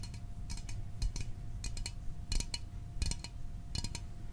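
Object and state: Small aluminum soda can.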